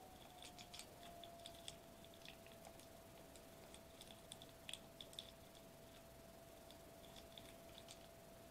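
A flat silver metallized plastic bubble wrap sheet lying on a white table is knocked with a fist and knuckles, then tapped with fingertips. The result is a quiet run of short, dry taps and crinkly clicks with a bright edge near 3.4 kHz. A steady faint tone hums underneath throughout.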